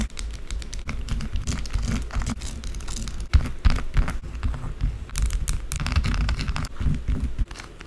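A small solid rectangular white bar of soap on a dark table is scraped quickly with long blue acrylic nails, leaving soap shavings. A dense run of crisp, crinkly scratching strokes with a deep low rumble underneath continues nearly throughout, then drops off near the end.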